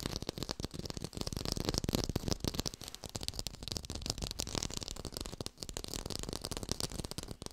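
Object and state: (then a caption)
Fake textured orange. Fast tapping on an artificial orange with a textured surface, recorded in high fidelity. A rapid, continuous stream of short, dry taps with a slightly scratchy texture and almost no ring after each strike. The level rises and dips unevenly across the clip.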